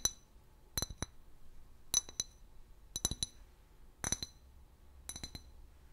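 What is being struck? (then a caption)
Glass bottle. Long nails tap the neck and body of an empty, hollow clear glass bottle with a long neck and a paper label. Six quick clusters of bright, high-pitched clinks ring and die away almost at once.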